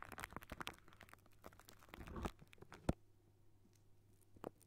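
Curled fingertips and short nails of both hands scratch and tap on a hollow wire-mesh metal microphone grille. The result is quiet, crunchy, crackling scratches and soft taps over a steady low hum, with one sharp, louder tap near the three-second mark. It then settles into a quieter stretch before a final brighter scratch.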